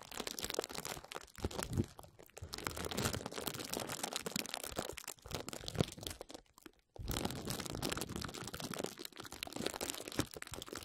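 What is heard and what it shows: A sheet of clear plastic bubble wrap is bunched around the microphone while both hands grasp, squeeze and crinkle it with fingers and nails. The result is dense, continuous crunching and crinkling that spans deep low rustle to bright, sharp crackles. A brief near-silent pause falls just before the seventh second before the crinkling resumes.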